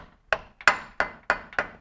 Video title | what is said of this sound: HOW TO install the intake manifold and distributor on a Ford Ranger 2.8 V-6 | that hit that solid sound that means that is lined up